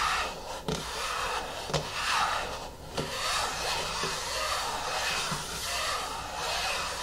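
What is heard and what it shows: Fingernails scratch and rub the top of the lid of a medium yellow plastic hair mask jar resting on a wooden table. The result is a steady, bright, raspy scraping texture, broken by a few short, sharp clicks.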